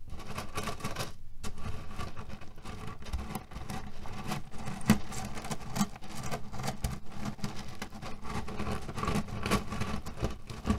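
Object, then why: Cotton pillow filled with cherry pits. A cotton canvas pillow filled with cherry pits is rubbed with flat hands and scratched with nails. This produces a dense, continuous granular rattle and crunch of shifting pits, weighted toward low tones with a steady hum-like band near 200 Hz. There is a brief lull just after the first second and scattered sharper clicks throughout.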